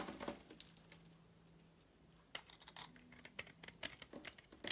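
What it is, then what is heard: Glitter-coated soap bar being scraped. A metal blade scrapes a rectangular solid purple soap bar with a gold glitter coating, held in the hand. Short, bright, crackly scraping bursts come early, then a near-silent pause, then a denser run of crisp scrapes and crinkles to the end.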